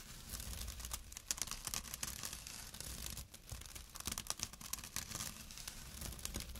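Short nails and fingertips scratch quickly over a small, empty jute burlap pouch with a drawstring, resting on dark cloth. The result is a dense, continuous run of bright, raspy scratching and crinkling bursts over a soft low rumble, with quick, sharp attacks that die away almost at once.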